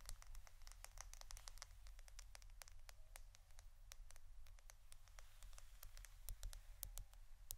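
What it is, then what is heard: Roll of adhesive tape, tapped and scratched. A roll of plastic adhesive tape is tapped and scratched with quick, rapid strokes for ASMR. Short, bright clicks and scratchy ticks scatter across the clip with almost no ring. A steady low hum sits underneath throughout.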